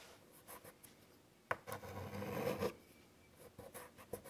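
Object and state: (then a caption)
Chalk on a chalkboard. White chalk is drawn across a large wood-framed chalkboard resting on a table in short, scratchy strokes. Quiet, dry scratches are broken by a sharp tap, then a longer, louder grinding stroke before the marks turn brief and faint again.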